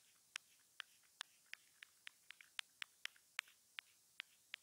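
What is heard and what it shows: A thin grey metal ear-pick-like tool held in fingers scratches and pokes at the surface and seam of a small, hollow, white plastic inline remote (mic/control module) from wired earphones, which is taped to a wooden table with clear tape. Fifteen quiet, sharp, bright ticks and clicks sound at irregular intervals. Each dies away almost instantly over a faint steady hiss.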